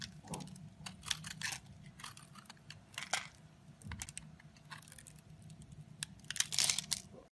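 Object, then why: Bar of soap carved with a blade. A box-cutter blade carves and scrapes the surface of a solid rectangular dark grey soap bar held in a hand with red nails. Crisp, bright scraping and crunching strokes come in short, uneven bursts, with a faint steady low hum underneath. Each stroke stops dry, with almost no ring.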